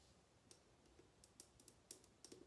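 Long nails tap and click along a tall, clear, mostly empty glass bottle with a decorative top, held tilted in the hands. About eight quiet, sharp, bright clicks are scattered over a low hiss, some leaving a brief faint glassy ring around 360 Hz that fades almost at once.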